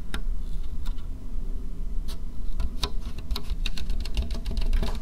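A medium white plastic bowl, hollow and empty, is held in the hands and tapped rapidly with long painted fingernails. Quick, light, bright clicks and ticks come in an uneven patter, each dying away almost instantly, over a steady low rumble.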